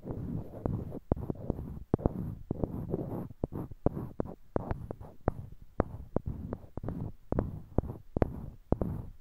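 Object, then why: Small wooden blocks. Small, solid, light-colored wooden cubes, held in pairs in each hand close to a binaural mic, are clicked and knocked against one another by the fingertips. Many short, dry knocks cut through a soft, low, rumbling handling texture, each one dying away almost instantly.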